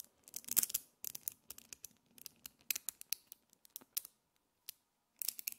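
Fingers with long nails pull a handful of small, multicolored solid metal magnetic spheres into a chain and snap them back into a clump. The result is clusters of sharp, bright clicks with almost no ring, separated by short silent pauses.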